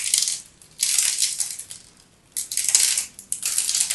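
A utility knife cuts into the scored surface of a solid teal-and-white striped bar soap held in the hands, and crisp cubes pop off. Bright, dry crackling and crunching comes in repeated bursts separated by brief quiet pauses, with almost no low end. Each snap dies away quickly.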